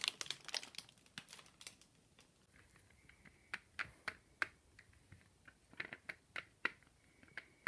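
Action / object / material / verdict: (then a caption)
tap / chocolate Easter egg shell / chocolate / none. Fingertips tap the shell of a large, ribbed, hollow dark chocolate Easter egg held upright in one hand. A quick cluster of crisp, crinkly clicks opens the clip. Then come sparser, sharp, bright taps with almost no ring and no low body, separated by quiet gaps.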